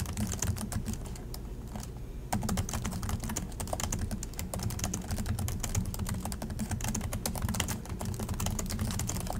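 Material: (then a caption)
Plastic. Both hands type continuously with their fingertips on the plastic chiclet keys of an Acer laptop, producing a rapid, steady stream of sharp, bright key taps. The taps sit over a constant low rumble, and the typing thins briefly around the second second before resuming at full pace.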